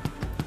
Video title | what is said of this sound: The Boat That Guy Built The COMPLETE series Guy Martin | when you bang it on the bottom, if it sounds hollow... Oh, you get a lovely sound.